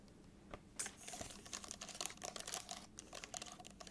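Long acrylic nails tap quickly on the plastic keys of an open aluminum laptop keyboard. A rapid, uneven run of short, bright clicks plays at a soft level, each dying away almost instantly, with little low end.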